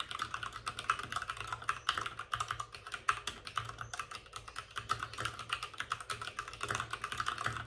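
Both hands type rapidly with their fingertips on the plastic keycaps of a white, backlit RGB mechanical computer keyboard resting on a desk with a padded wrist rest. The result is a steady, dense stream of short, sharp clacks with a bright click centered around 1.3 kHz, each stopping almost instantly, over a faint low hum.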